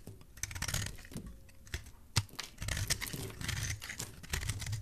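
A solid white bar of soap with purple specks, held in the hand, is scraped with a metal blade. It makes a dense run of short, crisp, dry scraping and shaving sounds with bright, crackly edges over a soft low rumble. One sharper scrape stands out near the middle.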